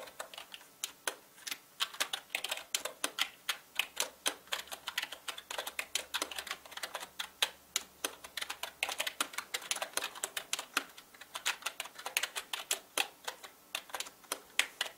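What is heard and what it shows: Fast fingertip typing on a full-size black mechanical gaming keyboard with plastic keycaps and a hollow plastic body produces a rapid, steady stream of sharp, bright clicks and clacks. Each keystroke is short and crisp with almost no low end and dies away almost instantly.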